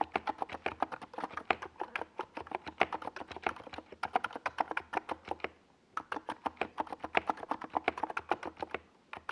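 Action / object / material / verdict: tap / plastic mechanical keyboard / plastic / none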